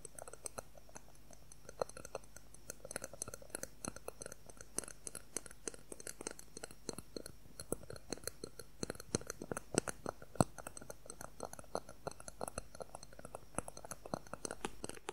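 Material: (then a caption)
Plastic. A thin, solid, clear plastic ruler about 20 cm long is tapped quickly with fingernails along its length. The result is a quiet, dense stream of sharp, dry clicks and ticks that die away instantly, over a faint steady low hum.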